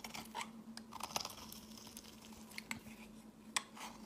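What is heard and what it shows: A metal blade shaves thin flakes off the edges of a solid white rounded soap bar held in the hand, with repeated scraping strokes. Each stroke makes a crisp, bright crunching scrape with sharp little clicks, over a faint steady low hum.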